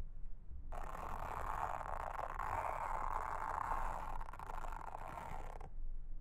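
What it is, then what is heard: Silicone honeycomb trivet being brushed. A pink mascara spoolie brush, held in a hand with long red nails, brushes and scratches across a round blue silicone trivet mat with a honeycomb texture, lying flat and solid on a table. A steady, dense scratchy rustle starts just under a second in, centered in the midrange around 1 kHz with a bright hiss above it. It runs continuously for about five seconds over a faint low rumble, then stops abruptly.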